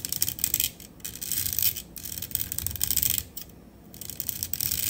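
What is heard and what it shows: Long acrylic nails tap quick flutters across the body and grille of a black matte metal USB studio microphone on a stand. Bright, crisp clicks and light scratchy rubbing come in rapid bursts, separated by brief quieter pauses.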